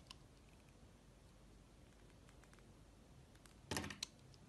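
A small knife blade cuts and scrapes the surface of a solid yellow soap molded as a banana bunch and held in the hand. Faint, scattered light ticks sit over a quiet low hiss, then a louder crisp scraping burst comes near the end, followed by one short, sharp click.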